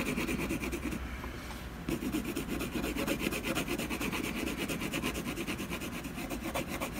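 A colored pencil shades a tree trunk on a solid canvas panel with repeated scratching strokes, giving a steady, grainy rasp with a bright edge. The strokes soften for about a second before resuming in a quick, continuous back-and-forth rhythm to the end.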